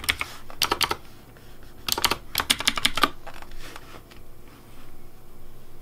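Fingertips type on the keycaps of a pink plastic Razer Deathadder V3 Pink mechanical keyboard. Short bursts of sharp, bright clacks follow one another with a quick decay. The typing stops after about three seconds, leaving a faint low background hum.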